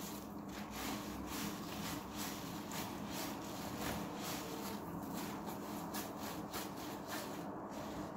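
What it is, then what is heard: Wet foam sponge rubbed with a soap bar. A large, rectangular, soft and porous yellow synthetic foam sponge, soaked with water, is rubbed with a pink Dove bar soap inside a clear plastic tub. The result is a steady, wet rubbing and squishing with repeated bright swishes over a low, textured rumble.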